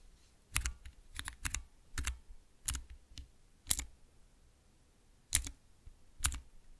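Long nails and fingertips press and tap three tall translucent plastic keycaps on Cherry MX mechanical switches over a clear base. Each press makes a short, sharp clack with a bright click and a low thump, in irregular bursts separated by quiet pauses.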